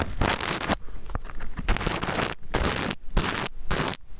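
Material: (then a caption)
Plastic sequins. A small rainbow reversible-sequin fabric pouch is held upright and sideways by the mic while nails scratch across its plastic sequins, flipping them. The result is repeated bursts of dense, crackling, bright scratching, separated by short quieter gaps.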